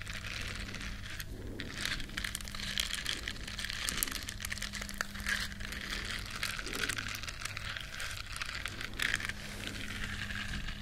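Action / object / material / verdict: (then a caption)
scrape / silicone bristle scrubber / silicone / none. Long nails scratch the bristles of a small, flat, solid yellow silicone scrubber shaped like a duck. The result is a steady, dense, crinkly crackle that is bright and fizzy, rising and falling slightly, over a faint low hum.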